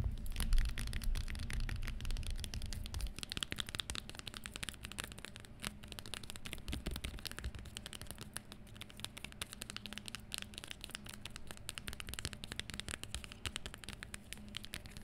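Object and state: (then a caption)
Leather high-heel shoe. Long green-painted nails tap and scratch the shiny metallic gold leather upper of a single hollow high-heel shoe with teal accents and a black sole, held and stood on a table. Rapid, irregular taps and crackly scratches start with heavier low thumps for the first few seconds, then settle into a softer, steady stream of bright ticks and scrapes.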